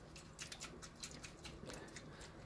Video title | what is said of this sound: Rosewill CPU cooler 240 AIO review FAIL | a lot of sloshing in there, and it sounds like there's not really a whole lot of water in there